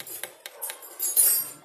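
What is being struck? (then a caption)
Aluminum bicycle fork. An aluminum bicycle fork is tapped, giving sharp, bright metallic clinks with a short ring. The taps sound sharper and more ringing than the dull thud of a carbon fork. The aluminum fork is a bit heavier than carbon but lighter than steel.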